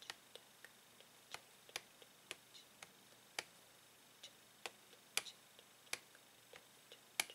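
Fingernails tap and click on a hollow, hard clear plastic blister pack holding a plastic Tangle fidget toy on a printed card backing, lying on a table. The result is an irregular series of sharp, bright, dry clicks with almost no ring, over a quiet background.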